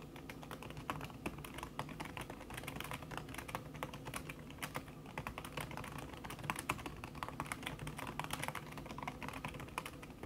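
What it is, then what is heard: Laptop keyboard with silicone cover, fast typing. Fingertips with long red nails type fast on a backlit laptop keyboard in a silver aluminum body, its keys covered by a thin red silicone skin. A steady, dense stream of quick, soft, muted taps with very short decay continues throughout, with occasional slightly louder key strikes.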